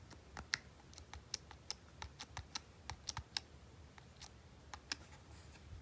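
Fingertips repeatedly press and click the hard plastic buttons of a small red and gold Nintendo Game & Watch Super Mario Bros. handheld held in both hands. About seventeen short, bright plastic clicks come at an uneven pace over a faint low background hum. Each click stops dry, with no ring.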